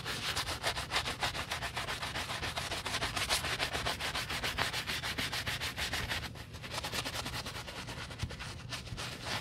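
A black leather UGG men's boot heel, held in a gloved hand, is scrubbed with a wooden-handled bristle brush through soap foam. Fast, steady back-and-forth strokes make a bright, hissy scratching with a soft low rumble underneath. The scrubbing softens briefly about two-thirds of the way through, then continues.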